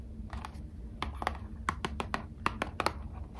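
Long acrylic nails tap on a small, hollow Squishmallows trading card blister pack with a thin cardboard backing card, held up in both hands. About 13 quick, light, dry taps with almost no ring sound over a quiet low background hum.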